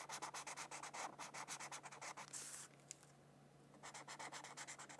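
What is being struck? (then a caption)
Felt-tip marker on a paper sheet. A felt-tip marker, held in a hand with long nails, rubs and strokes quickly back and forth across a thin white paper mandala coloring sheet lying on a book. The rapid, scratchy strokes give a bright, papery hiss over a faint steady low hum. They end in one longer sweep, pause for about a second, then resume.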